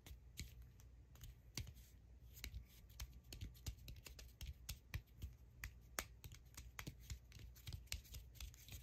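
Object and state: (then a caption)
Cork ball tapped with nails. Long acrylic nails tap and scratch on a solid cork ball held up close, making a quick, irregular run of sharp, bright clicks with soft scratchy rubbing between them. A steady low hum sits underneath the whole time.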